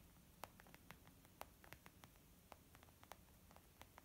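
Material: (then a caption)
Leather. Fingertips and nails of both hands tap quickly on a white textured leather zip pouch used as a makeup bag. Quiet, sharp, dry clicks and soft pats come in an uneven rapid string, each dying away almost instantly over a faint low hiss.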